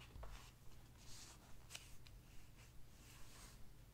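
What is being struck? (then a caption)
Hardcover book with glossy paper pages. A hand rubs and turns the glossy paper pages of a large open hardcover book. Soft, bright papery swishes and brushing rustles come in uneven strokes, with one sharper page snap, over a low steady hum.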